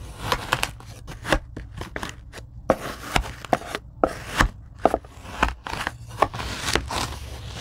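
A handheld rocker blade chops and cuts into a tray of kinetic sand. A quick, irregular series of short, crisp, crunchy chops rings out, each a bright, gritty burst that dies away almost instantly over a soft low background.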